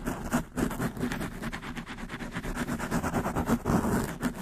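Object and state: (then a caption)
Foam microphone windscreen. A black foam windscreen on a desktop microphone is scratched very fast with the long nails of both hands. The result is a dense, continuous rustling and scratching with rapid repeated strokes and a low rumbling body.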